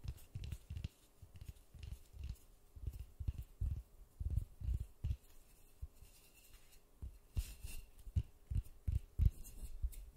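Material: Polystyrene foam.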